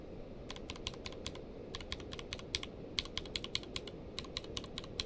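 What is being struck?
Mechanical keyboard with plastic keycaps.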